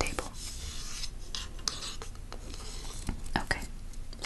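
Long manicured nails and fingertips scratch and rub along the handle and bowl of a long, flat wooden cooking spoon made of solid light wood, held over an open cookbook. The result is a soft, continuous rasping texture broken by scattered sharp clicks from the nails.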